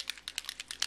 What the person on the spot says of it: shake it it's got the bubble inside you can hear it